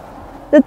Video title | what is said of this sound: 实拍中国最小的城市，中国蒙古边境阿尔山市，3分钟穿城而过，这里有中国最小的火车站 | Many people may think that the snow is soft. In fact, it is still quite strong at this temperature.